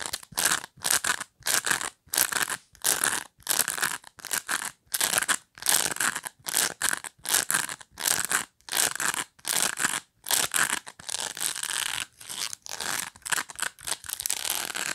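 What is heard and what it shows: Long nails strum and scratch the bristle tips at the edge of a black plastic pet brush held by hand. The result is a rapid series of separate, bright, crackly scraping bursts with short gaps between them, spread across the mids and highs with almost no low end. Toward the end the bursts run closer together into a nearly continuous rasp.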